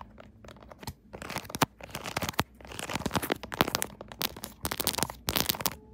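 Long acrylic nails tap and scratch across a pink silicone pop-it bubble case on a phone. The result is a dense run of quick, crisp taps and crackly, crunching scratches with bright edges, arriving in uneven bursts separated by brief lulls.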